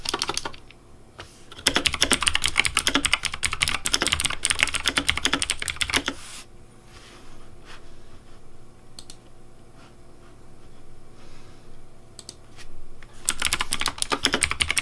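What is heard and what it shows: Fingertips type on a pink plastic Razer Deathadder V3 Pink mechanical keyboard with hollow plastic keycaps, producing fast, bright, clacky keystrokes. A dense burst of typing runs through the first six seconds, then drops to a quiet stretch with only a few scattered clicks over a faint steady hum. Rapid typing resumes near the end.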